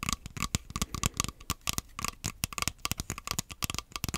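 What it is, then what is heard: Hollow plastic controller grip. Fingernails tap and scratch across the surface of an empty, hollow black plastic Joy-Con grip. The result is a rapid, uneven series of dry, clicky taps with short scratchy rasps between them. Each hit dies almost instantly, with a faint hollow tone around 1.15 kHz and bright, crisp highs.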